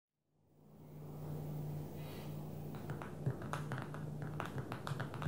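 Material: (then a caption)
Glass. Long manicured fingernails of both hands tap on the glass touchscreen of a small black smartphone lying flat on a dark table. A low steady hum fades in over the first second, then quick, uneven clicky taps with bright edges follow one another.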